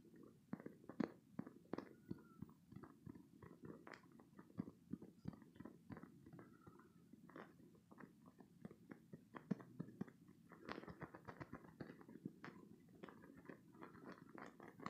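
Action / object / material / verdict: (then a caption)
scrape / spiky soft silicone squeeze toy / silicone / none. A green, spiky, soft silicone squeeze toy is squeezed and scratched with short green-painted nails. It makes a steady stream of quiet, dense squishy clicks and crackly scratches, mostly low and mid-toned with brief brighter ticks.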